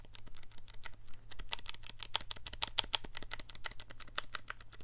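A fingertip taps and clicks the keys of a handheld black plastic scientific calculator with a hollow casing, held in one hand. A rapid run of short, dry plastic clicks peaks around 3.4 kHz with bright edges and almost no ring, over a steady low hum.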